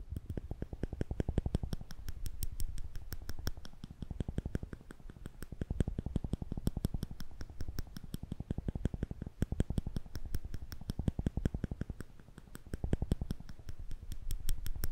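Thin steel tweezers are held upright between thumb and fingers, between two microphones, and their arms are squeezed and released so the tips click against each other. A rapid, steady stream of sharp, bright ticks runs throughout over a soft low thumping body, and each click dies away almost instantly.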